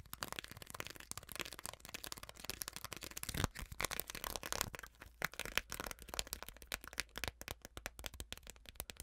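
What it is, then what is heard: Ridged plastic container scratched with nails. Long nails scratch and tap along the vertical ridges of a small, clear, hollow plastic container held up close. The result is a fast, dense run of crisp, bright clicks and ticking rattles with a soft scratchy texture and almost no ring.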